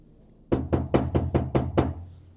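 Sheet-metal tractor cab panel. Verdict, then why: Undamped. Seven knocks on the bare, undamped sheet metal of a DTZ 5504NK tractor cab panel, before any vibration or noise insulation is applied, as a baseline for comparison with the insulated panel. Each knock gives a hollow, resonant metallic thud with a low-mid tone and a brief ring, over a steady low hum.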